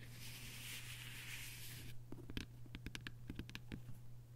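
Long nails scratch across a closed hardcover book with a paper dust jacket lying flat, making a bright, continuous rasp for about two seconds. They then tap the cover and spine in a series of quick, dry clicks that die away almost instantly. A low, steady hum sits underneath throughout.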